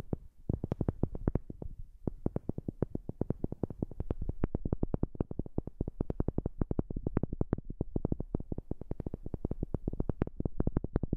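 A wooden object is tapped rapidly and steadily with a new microphone, producing short, dry knocks with a heavy low thump and almost no ring. The taps run continuously apart from a brief pause near the start.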